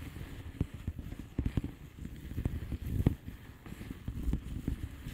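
Long painted nails of both hands tap on a flat blue plastic bubble wrap envelope with air-filled bubbles. About nine soft, dull, low thumps stand out from a continuous muffled patter of lighter taps. Each tap dies away almost at once.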